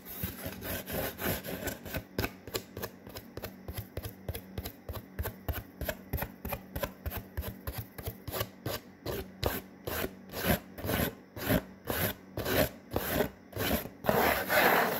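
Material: Cardboard.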